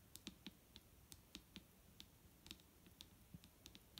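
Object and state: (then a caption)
Plastic bottle. Fingers tap on a plastic micellar water bottle, making quick, sharp clicks with a bright top and a low thud near 200 Hz. Around fifteen light taps come in an irregular rhythm over about four seconds, each dying away almost instantly.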